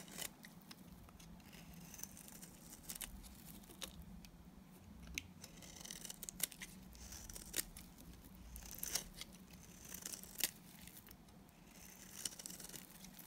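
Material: Soap.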